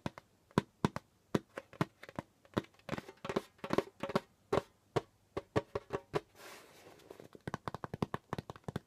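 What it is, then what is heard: Djembe drum head. Fingertips tap and scratch the pale skin head of a djembe drum, with both hands lying flat on it. Quick, dry taps with a soft low-mid thump follow one another in an uneven rhythm, some in fast clusters. Partway through, a brief hissing scratch across the skin breaks in, then a rapid run of light taps.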